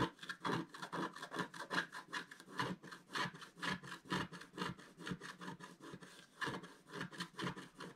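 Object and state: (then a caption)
Scratch art paper being scraped. A wooden stylus scrapes the black wax coating in the center of a flat scratch art sheet in a steady back-and-forth scratching motion. It makes a quick series of short, dry, bright rasping strokes, about two per second, with a slightly uneven rhythm. Each stroke is papery and brushy and stops almost at once, with no ring.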